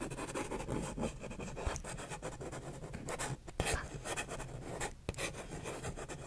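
A single empty, hollow paper cup is held upright in one hand while fingertips and nails scratch its printed outer wall. The result is a steady, dry scratching and rubbing texture with a low, hollow resonance underneath, broken by a few sharper clicks.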